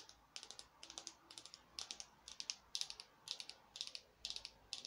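A small, glittery orange artificial foam craft pumpkin is held in one hand and rapidly tapped with long nails. The result is quiet, bright, dry clicking taps that come in quick bursts, with almost no ring after each tap.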